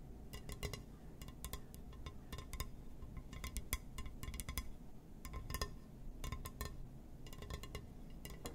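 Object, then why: Glass surface. Fingers tap and scratch on a glass surface, giving quick bursts of short, bright clinking taps in clustered runs. Each tap dies away almost instantly over a steady low rumble and quiet scratchy texture.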